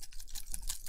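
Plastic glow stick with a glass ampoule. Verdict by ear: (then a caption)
Cracked. A spent "Ultra Orange" ultra-bright plastic glow stick, already cracked during a concert, is shaken so the broken shards of its inner glass ampoule rattle. Quick, faint clicks and ticks sound over a low background. The rattle marks the stick as spent rather than unused.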